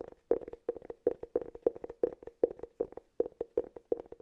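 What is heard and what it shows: Fingertips and nails tap and scratch the flat face and edge of a round, hollow cork cylinder. The result is a quick, uneven run of dry, short taps with a hollow, woody tone centred near 470 Hz and almost no ring. Clusters of taps are separated by brief pauses.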